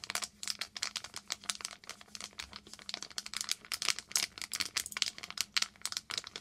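A small silver and clear foil plastic pouch with a silicone sponge inside is crinkled and tapped with long green nails. Dense, bright crinkling bursts and quick taps come one after another, with a faint low hum underneath.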